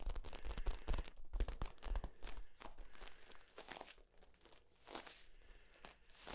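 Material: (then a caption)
Plastic. Hands squeeze the ribs of a hollow, flexible yellow corrugated plastic tube as it is compressed and then extended. The result is a rapid, irregular run of crackling pops and crinkles over dull low thumps, loudest at the start and then softening into quieter, scattered clicks.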